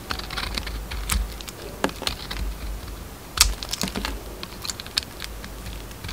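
A metal utility knife blade carves and scrapes a round solid bar of soap, its pale green inside showing, as flakes peel off. Irregular, crisp clicking and scratching strokes with bright edges come in quick uneven bursts over a low steady hum, with one sharper, louder cut near the middle.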